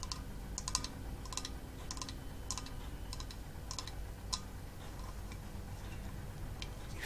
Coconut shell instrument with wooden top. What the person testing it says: this might just be plywood on the top with a hole drilled into it so that the sound can resonate through the shell